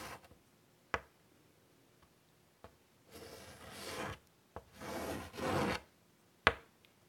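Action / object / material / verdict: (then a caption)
scrape / chalk on a chalkboard with wooden frame / chalk / none. A hand draws a flower outline with white chalk on a large, flat chalkboard in a wooden frame. Sharp, brief taps of chalk on the board are separated by quiet gaps, with three bright, rasping scratch strokes in the middle as the chalk drags across the surface.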